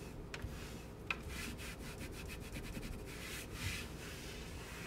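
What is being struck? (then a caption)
Painted wooden cabinet door. A small cloth is rubbed and wiped across a large white painted raised-panel kitchen cabinet door of wood or MDF, moving from near the bottom edge up to the middle. Soft, breathy swishing strokes repeat over a low, steady background hum, with a faint thin tone running through and a couple of brief sharper ticks.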